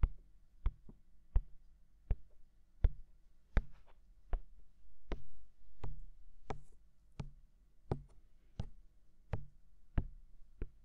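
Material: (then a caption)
Silicone. Fingertips rapidly tap and knock on the white silicone ear of a binaural microphone, which is hollow and mounted. Sixteen short, dull knocks land at a loose, uneven pace, each a deep thump with a brief sharp click on top that dies away almost instantly. Faint soft rubbing fills the gaps between some knocks.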